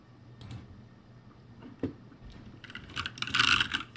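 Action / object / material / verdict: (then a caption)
tap / mechanical keyboard with plastic keycaps / plastic / none. Fingertips type on the upper rows of a backlit ROCCAT G65 mechanical keyboard with plastic keycaps. Sparse, bright plastic clacks with short ring give way to a quicker, louder flurry of keystrokes near the end.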